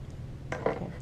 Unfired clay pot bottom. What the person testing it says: you tap on it if it sounds really hollow it's done